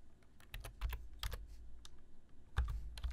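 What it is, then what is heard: Plastic computer keyboard being typed on. Fingertips of both hands type steadily on a black plastic full-size computer keyboard, tapping the keys. Each keystroke gives a quick, bright click over a low, dull thump that dies away almost at once, in a quiet, uneven run of taps.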